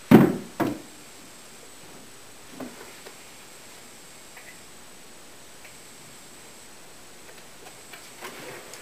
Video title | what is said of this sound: Making a Veneered Sideboard Part 5-3, Curly Maple Veneering: Andrew Pitts~FurnitureMaker | I'm tapping the veneer see if there's any Hollow spots look like we got a pretty good Bond on this one